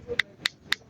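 An original motorcycle CDI ignition module is tapped four times for comparison, giving short, dry, bright clicks with almost no ring and no hollow sound. This marks it as a solid, genuine unit.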